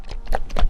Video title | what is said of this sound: Full Explanation About HIFU treatment with Heads, how does the HIFU treatment work? | So there's clearly maybe 80% of water inside.